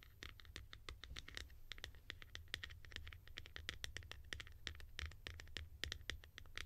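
Long nails scratch and tap quickly across the textured top and sides of a hand-held, hollow blue plastic cap with a ridged white insert. The result is a dense run of short, dry clicks and scratchy ticks with bright high-frequency edges, over a steady low hum.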